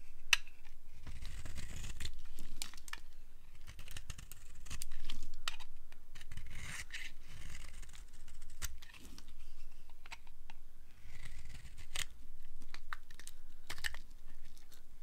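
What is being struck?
Bar of soap scraped with a flat blade.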